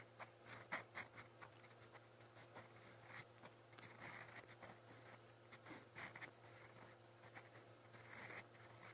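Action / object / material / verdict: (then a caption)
scrape / steel pen nib on a paper notebook page / paper / none. A steel fountain pen nib in brown ink scratches quick strokes across a lined white page of a spiral notebook. Soft, bright, papery scratches come in short bursts over a faint steady low hum. Each stroke ends almost at once.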